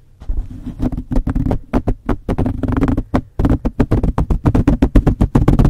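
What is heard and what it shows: Long blue fingernails on both hands scratch and rub a soft, porous, hollow black foam windscreen fitted over a condenser microphone. The result is a rapid, uneven series of short, deep scratching bursts with a boomy, muffled low end and almost no bright edge, each burst dying away instantly.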